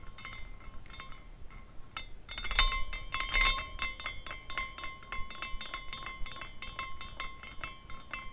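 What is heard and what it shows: A small glass carousel figurine, given a push by hand, spins so its hanging glass horses clink against one another. Rapid, irregular, bright tinkling chimes ring over a steady glassy tone, swelling louder for a moment near the middle before settling into continuous light clinking as it keeps turning.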